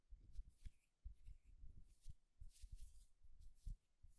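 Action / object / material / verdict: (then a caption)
tap / small wooden egg / wood / none. A solid, smooth wooden egg is held upright and tapped and scratched with the fingertips and short nails. Quiet, dull low taps with no ring mix with soft, bright scratching that rises and fades in short bursts throughout.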